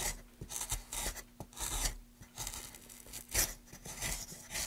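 A gloved hand pushes a gouge along a channel in a solid, light wooden plank, scraping off shavings in repeated strokes. Each stroke gives a bright, rasping scrape over soft low knocks, with brief quiet gaps between strokes.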